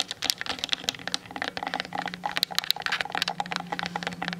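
Long nails tap quickly on the sides and top of a Canon DSLR with a plastic body, making a rapid stream of bright, dry clicks that stop instantly with no ring. A faint steady low hum sits underneath.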